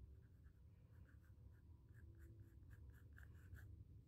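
A pencil scratches sketch lines across a small square white stretched cotton canvas panel with a textured primed surface. Quiet, repeated short scratchy strokes with bright, rasping edges sit over a steady low rumble.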